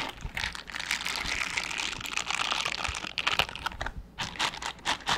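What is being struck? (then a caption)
Silicone bristle scrubber gloves. Mint-green silicone bristle scrubber gloves, worn on both hands, are rubbed and pressed together with the fingers brushing. They make a dense, bright, crinkly rustle full of quick scratchy ticks, with almost no low end and every flick stopping at once.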